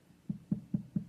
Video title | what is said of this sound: Trimming a Stoneware Bowl | It's a very dead sound.